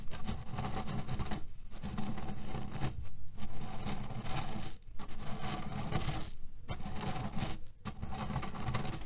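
Fingernails scratch and rapidly tap a cotton canvas pillow filled with cherry pits. The result is a dense, continuous rattling crunch, heavy in the low end, broken by a few brief quiet gaps.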